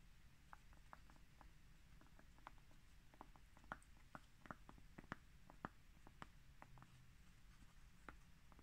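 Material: Cork.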